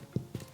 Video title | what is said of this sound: Brot ohne Hefe in nur 5 Minuten OHNE Gehzeit / Zauberbrot / 40 Minuten MIT Backzeit / Dinkelbrot | Just knock on the bottom. And if it sounds hollow, it's done.